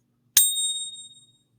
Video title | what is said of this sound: Why Bitcoin can't be sound money #silver #gold #preciousmetals | You can hear that pitch that carries on for quite a while.